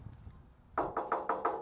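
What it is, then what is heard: Solid steel vehicle body. Five knocks on the steel body of an old military vehicle give sharp, solid metallic raps with a bright midrange ring that fades quickly after each hit. The knocks confirm the body is really solid steel.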